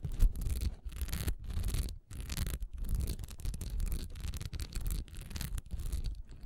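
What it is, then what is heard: Textured wax pillar candle scratched. Long nails scratch quickly over a solid honeycomb-textured wax pillar candle with a diamond pattern, lying on its side on a dark towel. Rapid bursts of dry, rasping scratches with a bright hiss sit over a heavy low rumble, broken by brief pauses between strokes.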